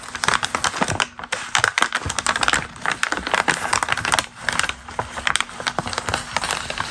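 A single thin, already crumpled glossy magazine page (a Star Search photo) is held in both hands and crinkled by fingers with long green nails, with other loose pages lying beneath. Dense, crisp crackles and rustles come in quick bursts and swells. The sound is bright and papery with very little low end.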